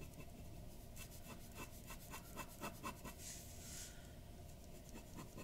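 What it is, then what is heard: Paper sheet under a pen nib. A glass dip pen's metal nib scratches hatching strokes across flat white drawing paper resting on a wooden desk, the pen staying on the paper throughout. The strokes come as quiet, rapid, dry scratches with bright, high hiss over a steady low background rumble, with a few slightly louder strokes near the middle.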